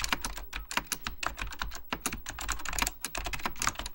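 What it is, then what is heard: Plastic mechanical computer keyboard. Fingertips type continuously on a beige plastic full-size Apple Extended Keyboard II, its hollow plastic keycaps riding over mechanical switches. Rapid, uneven bright clacks follow one another with very short decay, each key strike crisp and hollow over a low thud underneath.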